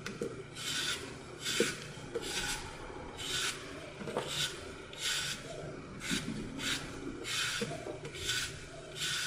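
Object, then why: Glitter-coated floral foam block. A solid green floral foam block with a blue-purple glitter coat is held in hand and carved along its edge with a utility knife. Repeated crunchy, bright rasping strokes come roughly once a second as foam chips break off, with a few sharper snaps between them.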